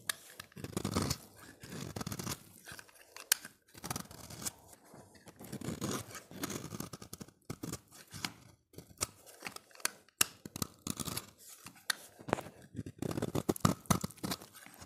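A solid, dry, oval orange bar of soap is held in the hand and shaved into flakes with a utility knife blade. Repeated crisp scraping and crunchy cutting strokes come in clustered bursts with brief pauses between them. The texture is dry and bright, with short, non-ringing transients.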